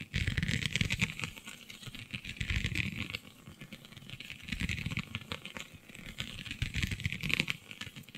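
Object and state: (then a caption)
Holographic scale vinyl sheet. Long nails scratch across a flexible, iridescent holographic vinyl sheet with raised scale-like bumps, making dense, rapid, irregular ticking and scraping. The sound has a bright rasp around 2.5 kHz over a low rumble, and it swells louder in three waves before easing back.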